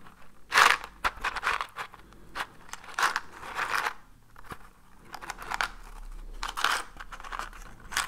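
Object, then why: Small cardboard matchbox. A small, hollow, orange cardboard matchbox is held near the face and scratched and tapped with fingertips and nails. Dry, crinkly scratching bursts alternate with short, sharp taps, bright and papery with a hollow midrange ring and almost no low end. The sounds come in irregular clusters with quiet gaps between them.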